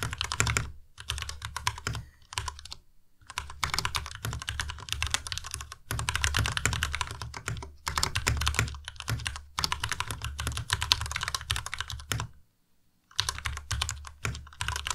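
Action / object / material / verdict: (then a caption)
tap / mechanical keyboard with plastic keycaps / plastic / none. Fast two-handed fingertip typing on a white Ducky Miya Pro tenkeyless mechanical keyboard with plastic keycaps. Rapid bursts of short, sharp keystrokes each carry a low thump and a bright clack, separated by brief pauses. There is a near-silent gap at about 12.5 seconds before the typing resumes.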